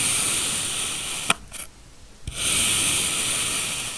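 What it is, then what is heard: Kinetic sand block being sliced. A steel knife held in a black-gloved hand slices successive thin layers off a packed, solid blue kinetic sand block in crumbly slicing strokes. A bright, gritty hiss of scraping sand is broken by two sharp clicks, with a quieter pause between them, before the steady hiss resumes.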